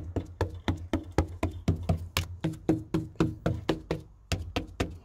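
About 20 quick knocks on a wooden main roof beam that wood-boring insects have partly eaten, giving dull, low, solid thuds that die away almost at once. The beam still has thickness and sounds fairly good, so it is judged still sound, though a screwdriver test shows the wood crumbling in part of it.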